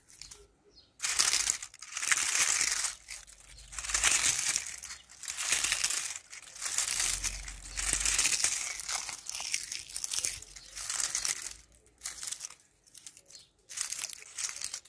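Fingers with long painted nails press, rub and grab thin, dry, brittle brown ivy leaves on a wall, crushing them. Bright, crinkling crunches come in bursts of varying length with short quiet pauses between, and the sound is almost entirely high-pitched with almost no low end.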